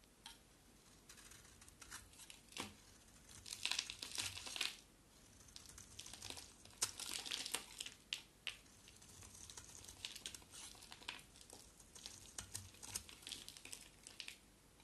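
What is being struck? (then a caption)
Bar of soap cut with a blade. A hand-held rectangular solid bar of soap with a black-and-yellow painted coat and a white interior is carved with a box cutter blade. Dry, bright scraping and crackling cuts come in quick clusters with short pauses, each burst ending almost instantly. The sound is thin and high with almost no low end.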